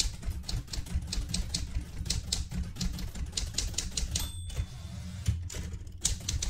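Fingertips with red painted nails type on a vintage light blue portable manual typewriter with a metal body, and one hand reaches to the carriage return. A steady run of crisp, bright key clacks rides over low mechanical thumps. A brief bright ringing tone sounds a little past four seconds, and then the typing resumes.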